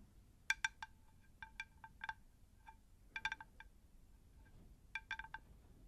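A round, shallow, unglazed terracotta plant saucer, hollow and empty, is held in both hands, tilted close to the microphones and tapped with long acrylic nails on its face and rim. Quick, light clicking taps come in uneven clusters, each with a brief bright ring around 1.6 kHz that dies away almost instantly. Quiet gaps with faint low background noise separate the clusters.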